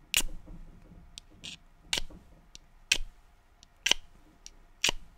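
A small, hollow yellow cardboard matchbox is held up in both hands and tapped and scratched with painted fingernails. Nine sparse, sharp, tick-like clicks sound at irregular intervals, bright and very short with almost no ring, over a quiet background.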